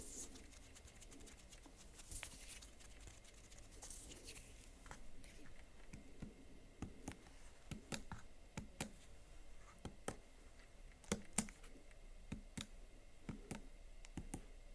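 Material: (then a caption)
Plastic. Fingernails and fingertips type on and click the keys of a Huawei MateBook X Pro laptop's plastic keyboard. Soft, irregular taps and sharp, bright clicks come at an uneven pace. A few louder clicks stand out near the end over a quiet, steady low background.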